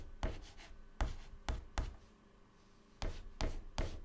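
White chalk held in the fingertips writes text on a flat black chalkboard panel in short scratching strokes and dots. Seven quick, soft taps and scrapes land at an uneven pace, each with a dull low thud and a faint bright scratch that fades fast, with a quiet pause in the middle.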